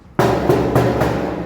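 A used stainless steel kitchen shelf made from thick 1.2 mm sheet is knocked four times, each knock giving a solid, resonant metallic ring centered around 367 Hz that sustains and overlaps into a steady hum. The full, lingering tone marks the shelf as thick, heavy and solid rather than thin or flimsy.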